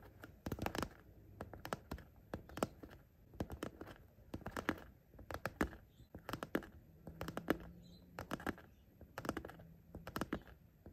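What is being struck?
Coated-fabric zippered pencil case.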